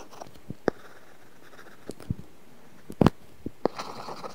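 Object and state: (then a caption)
Stylus scratching on a tablet's matte paper-feel screen film. A stylus tip scratches across an iPad's glass screen fitted with a matte, paper-feel plastic film in short coloring strokes. Each stroke makes a soft, dry, brief scratch or tap with very little ring, spaced irregularly over a quiet background. A cluster of slightly louder strokes comes near the end.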